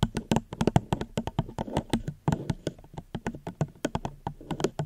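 A plastic cup is gently tapped close to the microphone, about 30 quick, dry taps in an uneven rhythm. Each tap is a soft, hollow knock, mostly low in tone, with a brief bright click and almost no ring.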